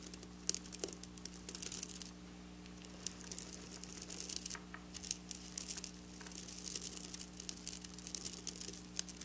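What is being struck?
Sequin fabric.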